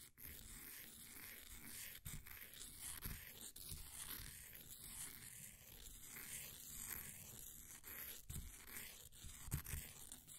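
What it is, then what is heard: Pressed powder bath bomb scraped. A flat wooden popsicle stick scrapes down the crumbly side of a solid, green, ball-sized bath bomb of compressed powder held in a blue plastic ring holder. Quiet, steady gritty scraping and crunching continues throughout, with occasional sharper crackles and bright, hissy crumbling over a low rumble.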